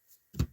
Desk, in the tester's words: you can hear me bang on it it's a desk it's solid